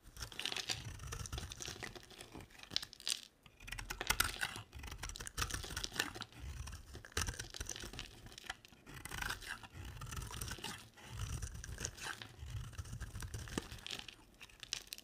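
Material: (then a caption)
Soap. A two-tone pink and white solid bar of dry soap is held in the hand and shaved into curls with a box-cutter blade. Dense, crisp scraping and rasping runs in bursts separated by brief pauses, with a bright, dry texture over a soft low rumble. Each stroke stops dead with no ring.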